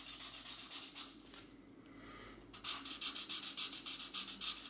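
A green felt-tip marker rubs back and forth across a paper coloring book page to fill in a section while a fingertip steadies the paper. Quick, bright scratchy strokes repeat at a steady rhythm, fade to a soft rubbing lull midway, then resume just as briskly.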